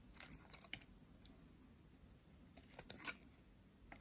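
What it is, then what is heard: Dry soap bar being carved. A metal utility blade scrapes and carves a green, solid, dry soap bar, producing a series of short, dry, crisp scratches and crunchy snaps. The bright strokes come in irregular bursts over a quiet background, with the sharpest cuts near the start and end.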